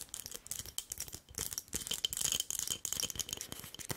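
A medium glass candle jar with a paper label and glass lid, filled with solid cream-colored wax, is held in both hands and tapped and scratched with long nails. Dense, crisp clicks and scratchy rustling run throughout, bright and high-pitched with a faint ringing tone near 3 kHz and almost no low end.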